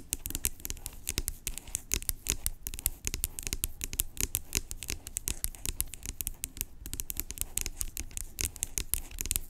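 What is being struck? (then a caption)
Plastic pump bottle. Long acrylic nails rapidly tap the cap and scratch the body of a large, hollow, blue-labelled plastic pump bottle lying on its side. The result is a dense run of sharp, bright clicks and scratchy rasps over a low, hollow thump, with each tap dying away almost instantly.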